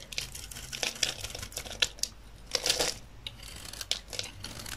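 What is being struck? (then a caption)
Bar of soap cut with a knife blade. A solid rectangular bar of dry olive-green soap, held in the hand, is shaved and cut with a utility knife blade, peeling off thick curls. The result is a rapid run of dry, bright crackling and scraping bursts, with a few louder crisp cuts among softer crinkly shaving.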